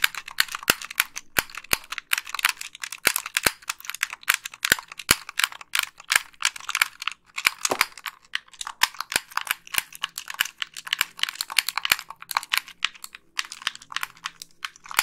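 Long nails click the buttons and triggers of a white, hollow, plastic wired game controller and tap on its casing. The result is a rapid, uneven stream of sharp, bright plastic clicks and taps with almost no low end. Each click dies away almost instantly.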